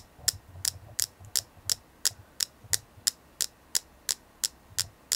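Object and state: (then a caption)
Selenite crystal. A selenite crystal is tapped in a steady rhythm, about three taps per second, with 15 separate taps. Each tap is a short, bright, dry click that dies away almost instantly. A faint low hum sits underneath.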